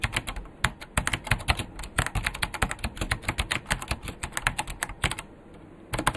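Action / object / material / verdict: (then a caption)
tap / plastic mechanical keyboard / plastic / none. Fast two-handed fingertip typing on a vintage beige plastic KPT-102 full-size mechanical keyboard with Alps switches and a hollow case. A dense run of sharp, clacky key taps has bright high clicks over a hollow low thump. The taps stop for a brief pause near the end, then resume.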